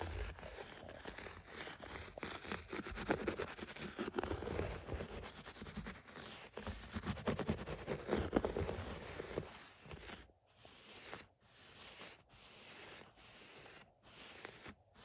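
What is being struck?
Synthetic shag carpet.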